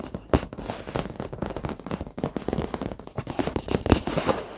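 Fingertips and short nails of both hands tap rapidly across the dark padded leather seat of an office chair, soft over foam. The result is a dense, uneven patter of short, dry taps with a crackly texture, mostly low and midrange with little brightness, and a few sharper, louder strikes standing out.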